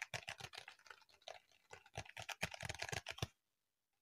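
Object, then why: Notebook with embossed plastic cover. Fingertips and short nails of both hands tap and scratch a medium-sized notebook held upright, its pink-iridescent holographic plastic cover embossed with raised dots. A quick, irregular run of crisp, dry clicks and bright scratchy rasps stops abruptly after about three seconds, leaving near silence with a faint tick as the notebook is turned edge-on.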